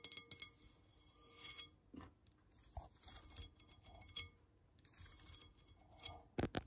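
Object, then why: Ribbed ceramic plant pot. Long manicured nails scratch and tap along the ribbed outer wall of a large beige ceramic plant pot, hollow and filled with soil. Bright, raspy scratching bursts alternate with sharp, dry taps that die away almost at once, ending with a few louder clicks.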